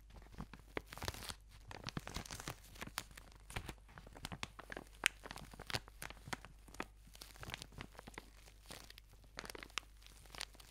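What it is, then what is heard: Plastic-wrapped tube, squeezed and scratched. A white and pink product tube wrapped in plastic film is squeezed and scratched with long nails. The result is a steady run of quiet, bright crinkling and crackling taps and scrapes. Dozens of short, sharp clicks rise above a soft background.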